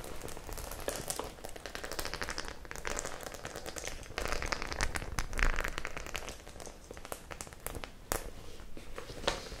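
Long nails scratch and tap the metal studs of a white, hollow, soft-bodied metal-studded faux leather clutch bag held in the hands and tilted near the face. The result is a steady, dense stream of dry crackling and light clicking taps, with a bright rustle and a low, soft hollow body, briefly swelling louder midway before settling again.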